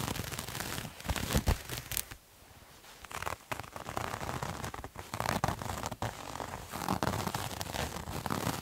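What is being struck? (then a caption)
Terry cloth towel. A multicolored striped terry cloth towel, held in both hands, is scratched and rubbed with fingernails. The result is a dense, crackling, rasping texture of rough scratches and rubs, with brief louder bursts and a short quieter lull near the start.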